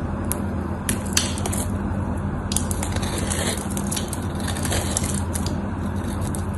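A utility knife blade scrapes cubes off a solid white bar of soap that has an embossed logo and is scored in a grid. It makes a steady, dense crunching and scraping with bright, crackly flicks scattered through it. A constant low hum runs underneath the whole time.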